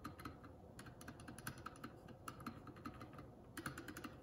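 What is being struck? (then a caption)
Mechanical keyboard with plastic keycaps. A Keycool K84 75% mechanical keyboard with plastic keycaps is typed on slowly with one index fingertip, pressing single keys and the spacebar one at a time. Short, crisp clacks come at an uneven pace over a faint steady background hiss, each dying away almost instantly.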